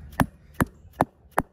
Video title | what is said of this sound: Toro Titan Max 13 x 6.5 - 6 Front Tire Replacement | when you hear that hollow sound, you'll be able to lift it up and see that it's seated in there pretty good